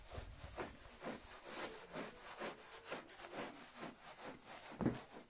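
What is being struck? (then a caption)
Wet wool pile rug scrubbed with a bristle brush. A green and yellow long-handled bristle brush scrubs back and forth over a thick red patterned wool pile rug covered in wet foam. Repeated rough, raspy rubbing strokes sweep across the clip, with a sharper, louder stroke near the end.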